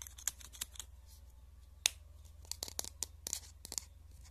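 Fingertips and nails rub and scratch along the hollow barrel of a pink plastic highlighter marker held close up. About a dozen short, bright scratching ticks sound over a faint steady low hum, with the sharpest click near the middle and a quicker cluster toward the end. Each one stops almost at once.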